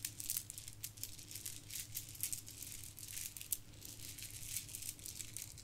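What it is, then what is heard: Plastic bead garland rattling. A pile of gold plastic bead garland is poured and rolled between cupped palms and shaken near the microphone. The beads give off a continuous bright, dense rattle with quick clicking bursts over a steady low hum.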